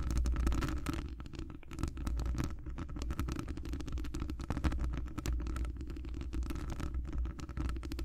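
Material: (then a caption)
Metal. Long decorated acrylic nails from both hands scratch all around the rounded, hollow metal wire-mesh grille of a large condenser microphone. The result is a dense, continuous run of fast scratchy ticks over a heavy low rumble, with a faint steady hum near the top of the midrange.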